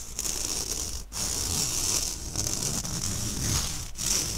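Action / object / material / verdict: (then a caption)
scrape / stainless steel wire mesh sieve / stainless steel / none. Fingernails scratch the wire mesh of an empty, round, fine-mesh stainless steel sieve held by its handle close to the mic. The result is a steady, bright, raspy scratching with a strong high hiss. It breaks off briefly twice, near 1.1 s and 3.9 s, before resuming.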